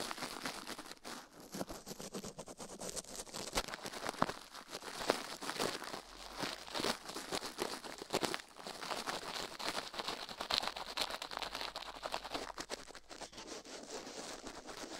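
A gloved hand scrubs a plastic toothbrush over the left silicone ear of a binaural microphone resting on a steel plate. The result is a continuous, dense, crinkly scratching and brushing sound made of rapid short strokes, bright and hissy with little low end.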